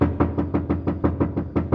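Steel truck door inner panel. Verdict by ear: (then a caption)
Tinny. Eleven quick, evenly spaced taps on the inside bottom of a steel Chevrolet Silverado/GMC Sierra truck door shell, with the window regulator removed, give hollow, tinny knocks with a low boomy body and very short ring. The bare panel sounds tinny because it has no sound deadening yet, and it is meant to get sound-deadening mat.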